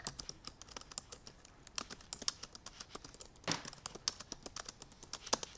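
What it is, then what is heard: Laptop keyboard being typed on. Fingertips with purple painted nails on both hands type quickly on the black plastic keys of a silver aluminum MacBook Pro laptop keyboard. About 39 quick, dry, bright clicks and taps rattle out in an uneven stream, each dying away almost instantly, with a slightly heavier cluster midway through.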